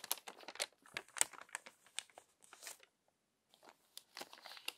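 A hand turns and smooths the previously crumpled pages of an open glossy paper magazine with its fingertips. Dense, bright crinkles and crackling rustles come in quick bursts, pause briefly near the three-second mark, then resume.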